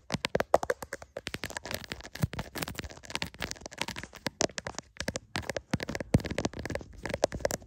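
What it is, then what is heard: Smartphone in plastic case, tapped and scratched. Fingertips and short painted nails rapidly tap and scratch the back of a hand-sized smartphone in a clear plastic case, near the camera lens, while it is held in both hands and records itself. The result is a dense, close-up stream of sharp, dry clicks and crackly scratches with almost no ring.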